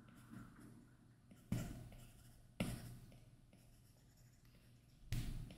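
A plastic Apple Pencil tip makes short scratching strokes across a flat iPad glass touchscreen fitted with a matte screen protector while inking a face. Soft, low scratches are broken by a few sharper, louder strokes, each with a bright rasp that quickly fades.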